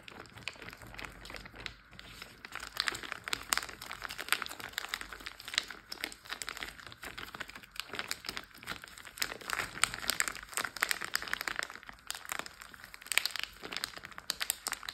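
Short blue-painted nails and fingertips tap, scratch and press a large clear plastic Ziploc bag full of water lying flat on a teal board, crinkling the plastic. A steady stream of quick, dry crinkles and clicky taps fills the clip, bright and papery with almost no low end. Each sound stops at once with no ring.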